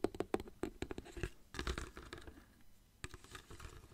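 Fingertips tap and squeeze a small clear plastic water bottle with a blue cap, holding water, while the bottle is tilted. A quick run of soft, dry taps with a hollow low-mid tone gives way to crinkly squeezing and faint sloshing, then one more sharp tap and quieter rustling.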